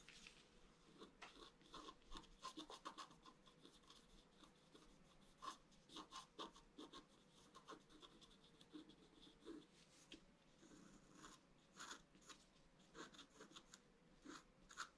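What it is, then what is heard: Scratch art card being scraped. A bamboo stylus scrapes a flat scratch-art sheet of black wax-coated paper in short strokes across the coated surface. The result is a steady run of quiet, dry scratches with crisp, bright edges, each stopping at once with no ring.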